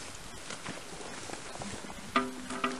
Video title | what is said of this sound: Noah's Ark Presentation - by Graeme Howitt | It has a very hollow sound. Very hollow. It sounds like metal.